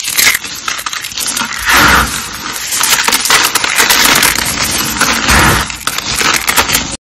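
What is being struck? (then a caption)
Soap flakes. Purple and green dry soap flakes, solid and brittle, are crushed between fingers and pressed by hand. A dense, bright crunching crackle runs throughout, swelling into louder, fuller crunches in a few bursts as the flakes give way.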